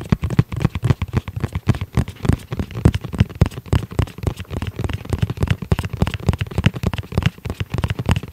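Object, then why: Fabric-covered EVA hard-shell pouch. Fingertips of both hands tap rapidly and continuously on a flat, hollow, fabric-covered hard-shell EVA zip pouch, dark gray with red trim. Each tap is a soft, dull, low thump with almost no ring, and the taps run together in a steady patter throughout.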